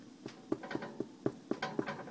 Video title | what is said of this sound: How to make Vegan Bread, Tasty Vegan French Bread So Yummy | that sound means it's done